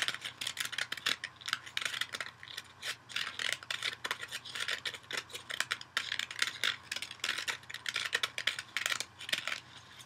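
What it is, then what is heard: Kitchen sponge scratched on the foam side. A dual-layer kitchen sponge, yellow foam with a green scouring-pad backing, is held in one hand and scratched on its yellow foam side with fingernails. A rapid, uneven series of dry, bright, crackly scratching bursts follows, each dying away almost instantly with no ring or low end.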